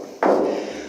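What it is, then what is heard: Resonant, undamped car roof panel. A single knock on a car's sheet-metal roof panel gives a hollow, midrange thud centered near 530 Hz that rings on for about a third of a second before fading. The roof resonates a lot and needs a lot of sound-deadening work for an audio build.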